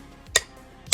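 A white Ambutech hook-on ceramic cane tip for two-point touch ($15.98), with a black rubber ring, a flat top and a ball-shaped bottom, is tapped left and right on a ceramic tile sheet. Two sharp, bright clicks are heard, each dying away almost at once. The taps are loud, loud enough that people in office buildings can hear the user coming and not run into them.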